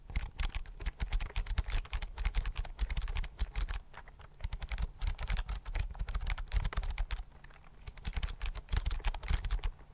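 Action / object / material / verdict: tap / plastic chiclet keyboard / plastic / none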